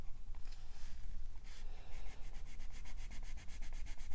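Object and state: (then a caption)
Colored pencil shading on a paper coloring page. A green wooden colored pencil shades the leaf area of a printed paper page in a coloring book, with the other hand resting flat on the page. Soft, dry rubbing strokes scratch across the paper, sounding much like sanding. They settle into a quick, steady back-and-forth rhythm of bright, papery swishes.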